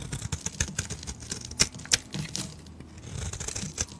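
A metal blade shaves and scrapes across the surface of a solid pale bar of soap. The result is a quick, irregular run of dry, crisp, bright scraping strokes, with a few sharper, louder cuts standing out. Between them are softer stretches of gentle shaving.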